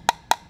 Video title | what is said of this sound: P2 T3 Composite Tap Test | if they're all connected and they all act as one then when we hit them we get a nice clear high-pitched tone